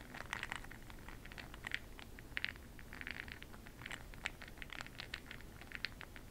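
A makeup brush swirls through a small clear glass cup full of small bronze bronzing pearl beads, making a quiet, steady rattling patter of beads against the glass. Dense, short clicks center around 2 kHz with bright tips, over a soft low background hum.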